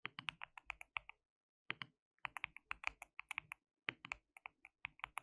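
Fingertips of both hands type continuously on a white mechanical keyboard with plastic keycaps. It's a quiet, bright, clacky run of short, dry keystrokes in uneven bursts, with brief pauses between flurries.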